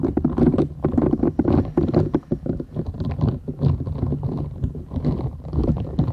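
A flat, thin, solid purple silicone scrubber sponge with short bristles is held folded in both hands while long nails scratch and tap its bristled surface. The result is a dense run of soft, low, rubbery scratching and quick muffled taps, with no bright ring and no pauses.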